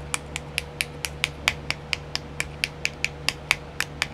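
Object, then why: Plastic compartment wheel. Long nails tap a small, round, filled clear plastic nail art compartment wheel 18 times in a steady rhythm. Each tap is a short, bright, dry click centred around 2.3 kHz with almost no ring. A faint steady hum sits underneath.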